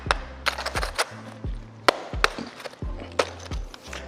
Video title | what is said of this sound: 1000만원 아낄수 있는 방법!! 디젤차 오너라면 무조건 알고 있어야할 상식!! | 소리가 나죠? 단단합니다. 벽돌 같은 구조로 생겼어요.